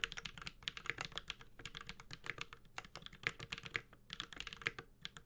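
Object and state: Mechanical keyboard being typed on.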